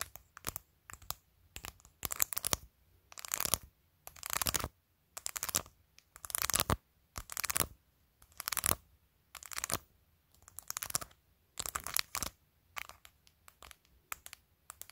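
Long nails tap and scratch a hand-held phone in a clear, glittery plastic case covered with glued pink, green and purple acrylic press-on nails. The result is a steady series of short, dry bursts of bright, scratchy clicking and crackling, with no ring after each burst and little low end.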